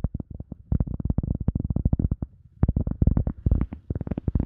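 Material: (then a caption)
EVA foam. An EVA foam sponge is tapped rapidly, with no talking. Each tap is a soft, dull, low thud that dies away almost at once. The taps come in quick bursts with brief pauses between them.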